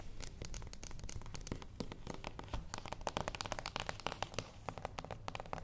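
A small, flat, closed cardboard gift box lying on a wooden table is tapped and lightly scratched on its top with the long acrylic nails of both hands. Rapid, irregular nail taps give sharp, dry clicks with bright edges and almost no ring, over a soft, steady scratching rustle. The sound stays quiet throughout.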